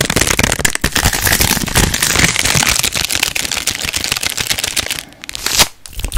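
A small purple plastic sweet bag of Cadbury Mini Snow Balls, apparently still sealed with the contents inside, is held in both hands close to a microphone and squeezed, crinkled and scratched with long nails. The result is a dense, bright stream of crackling, rustling plastic with quick sharp scratches. It eases briefly near the end, then returns with one louder crinkle.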